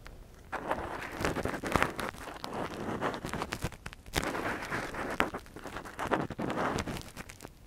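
A thin metal earpick scratches the canal opening of a silicone ear model held in one hand, with gloved fingers. Close, dense scratching and crackling comes in rough bursts, punctuated by sharp clicks, with quiet pauses between strokes.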